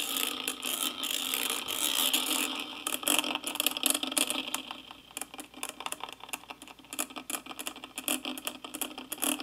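A small wooden-handled brush rubs and scratches the hollow metal mesh grille of a karaoke microphone held steady. The result is a dense, bright, scratchy rustle with almost no low end. It starts as a continuous wash and breaks into quicker, irregular short scrapes in the second half.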